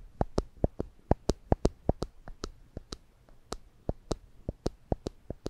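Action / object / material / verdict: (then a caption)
strike / plastic spring clamp / plastic / none. A small yellow and black plastic spring clamp with rubber tips and hollow handles is held in one hand above a microphone, its handles squeezed and released repeatedly to click the jaws open and shut. About 23 short, sharp clicks ring out at an uneven pace, each with a dull low thud and a bright snap that dies away almost instantly.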